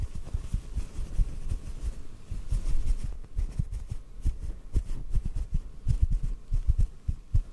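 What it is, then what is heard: Cotton ball, soft tapping. A small, soft white cotton ball is held in the fingers and tapped gently with the fingertips. The taps land as a steady run of soft, muffled low thuds with almost no ring, and nothing bright above them.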